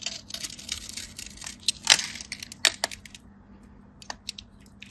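A small metal craft blade scores and carves a crosshatch grid into the face of a solid, dry, hand-sized white bar of soap held in the fingers, chipping off small flakes. The clip is a run of bright, crisp scratching and cutting strokes with a few sharper snaps. The sound sits almost entirely in the high range and each stroke dies away almost at once.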